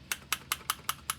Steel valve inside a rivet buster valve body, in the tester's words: you should be able to shake it and hear it um if you can't move it while you're shaking it it's probably not going to work right